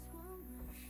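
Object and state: Nothing is struck.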